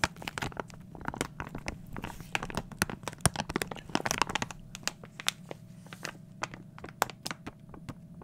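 A small glossy plastic foil toy blind bag is tapped and scratched with a fingertip and crinkled in the hand. Dense, sharp crackles and crinkles snap across a bright range in quick bursts, with a faint low hum beneath them throughout.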